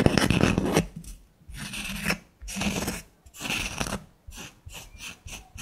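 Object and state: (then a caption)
Wood slice coaster scratched and tapped. Long lilac nails scratch and tap the surface of a small, flat, solid disc of natural wood with a bark rim and a burned snowflake design, held in one hand. A dense opening rasp gives way to separate bursts of dry, bright scratching with short, quiet gaps between them. Toward the end the strokes become shorter and quicker.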